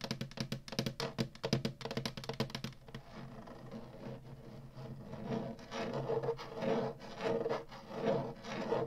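Long nails tap and scratch the hollow plastic bottom of an upside-down Atari retro game console, a flat black plastic base with a label. Quick, dry, clicky taps fill the first three seconds, then give way to continuous rough scratching that swells and fades in waves, with a low hollow body tone underneath.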